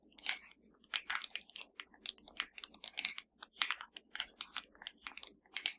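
Long matte nails on both hands tap rapidly on the rubber buttons and body of a flat, hollow black plastic TV remote. The result is a quick, uneven string of dry, bright clicks and light crunchy taps with almost no ring, over a faint low hum.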